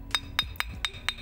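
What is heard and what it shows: Five sharp, bright clicks ring out at a steady pace as a multicolor iron jasper (badar besi) stone with white, black, yellow and pink tones is tapped against another stone. Each click is short and high-pitched with almost no ring, marking the stone as fairly solid and hard.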